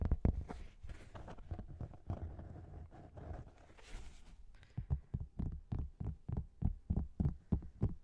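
A thin, flat agglomerated cork board is held horizontally over the microphone while its top surface is tapped with fingertips and nails. The result is a quick, irregular run of soft, dull, low thuds with almost no ring. The tapping grows louder and more distinct in the last few seconds.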